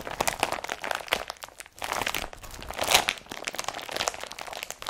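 An empty blue IKEA BRATTBY carrier bag, made of woven polypropylene plastic and fitted with straps, is squeezed and crumpled in the hand. The result is a steady run of dry, bright crinkling and crunching with very little low end. The bursts swell and fade, and the loudest crunch comes near the third second.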